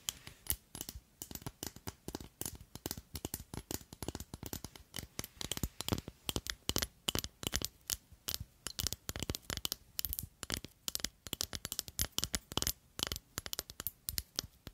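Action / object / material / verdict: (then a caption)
tap / long slender glass bottle / glass / none. Long nails tap and scratch along a long, slender clear glass bottle with a red cap, held horizontally across the mic. The result is a fast, irregular run of sharp, bright clicks and scraping sounds. Each one is dry and stops instantly, with no ring.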